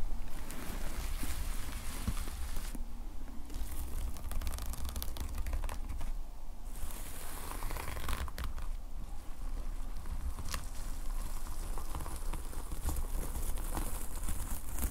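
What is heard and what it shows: Fingertips stroke and scratch in lines across the black and red plastic sequin fabric cover of a closed notepad lying flat, flipping the sequins over. The result is a steady, continuous crinkling, scratchy rustle with bursts of bright crackle over a low rumble.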